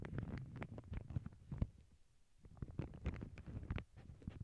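Long glittery acrylic nails tap and scratch across a small, flat, empty lavender paper bag lying on a cork board over earbud microphones. Soft, muffled, bass-heavy taps and brushing scrapes come in uneven bursts, with a quieter pause in the middle before the tapping picks up again.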